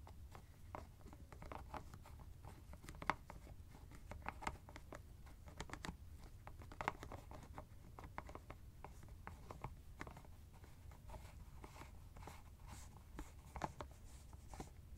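Fingertips twist and scratch the white plastic screw cap of a teal fabric ice bag. Quiet, dense scratching and rapid tiny clicks and ticks sit over a low, steady rumble, with a few sharper snaps standing out.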